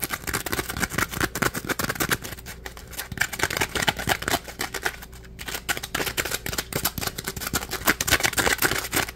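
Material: Polymer foam.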